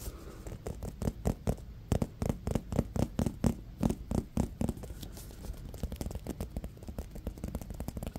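A small, solid navy-blue leather baseball with white raised stitching is held in one hand and tapped and scratched with the fingertips. A rapid, uneven series of soft, dull taps follows, each dying away almost instantly, with quieter scratching between them.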